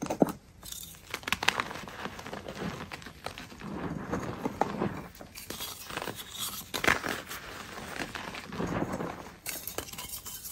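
A solid pasted gym chalk block, held in the hands, is squeezed and crushed with the fingers and long nails, breaking into chunks and powder over a tray of loose chalk. Dry, brittle crunches and crumbling snaps come in quick bursts with sharp bright crackles and soft gritty rustling between them.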